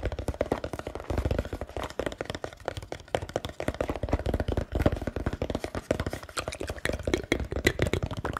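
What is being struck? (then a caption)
Small cardboard box. A small black rectangular cardboard product box with a white barcode label, apparently hollow, is held in one hand close to the mic and tapped quickly on its top with the fingertips of the other hand. A steady stream of rapid, dull, hollow taps sounds with strong low-end body and very short ring, with little brightness on top.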